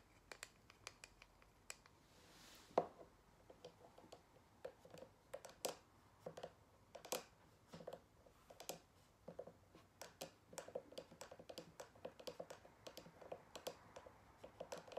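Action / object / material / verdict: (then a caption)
tap / cork-backed photo coaster / cork / none. A single square cork-backed photo coaster is held upright by its edge and tapped with long nails on its faces and edge. Quiet, dry, clicky taps come in irregular quick bursts, each dying away almost at once with a faint mid-pitched knock under a brighter tick.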